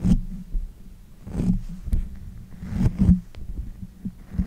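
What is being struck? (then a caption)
Condenser microphone with metal mesh grille. Both hands with long nails rub and pat the uncovered, hollow metal mesh head of a pink condenser microphone. Heavy, muffled low thumps pulse through a dull rumble, with brief scratchy brushing in between and almost no high end.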